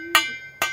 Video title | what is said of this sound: Comment décalaminer son pot d'échappement moteur 2 temps | on a un gros bruit métallique. Vous voyez? Ça résonne bien. Donc là-dedans, il n'y a pas de calamine.